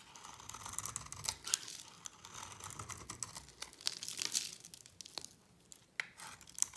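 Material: Soap.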